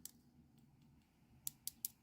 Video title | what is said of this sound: HOW TO: Beginners Guide to Easy Dip Powder Mani | that's how you know your nail is ready to be filed